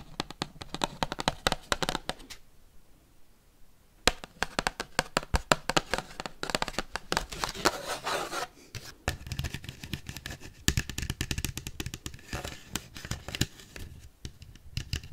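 Paperclips worn on the fingertips rapidly tap and scratch the surface and rim of a large, thin, empty white paper plate held up in the hand. Dense bursts of sharp, bright clicks mix with papery scraping and rustling, with a soft low rumble underneath. A brief quieter stretch of light scratching falls near the start before the fast tapping resumes.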